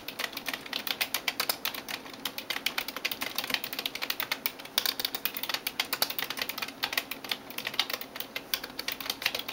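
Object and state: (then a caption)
Plastic computer keyboard. A hand types rapidly on a backlit plastic computer keyboard with fingertips and nails, producing a steady stream of short, bright clicks and taps. Each tap dies away almost instantly, with no low-end weight, in an uneven, continuous rhythm.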